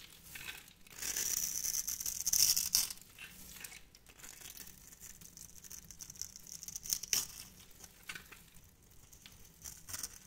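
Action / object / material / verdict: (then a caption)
scrape / bar of soap / soap / none. A hand-sized orange and cream striped soap bar, held in the hand, is scraped and carved with a metal knife to cut small cubes off its end. The sound is a dry, crisp scratching and crackling that is almost entirely high and bright. It is loudest in a dense burst near the start, then settles into quieter, irregular scrapes and small snaps.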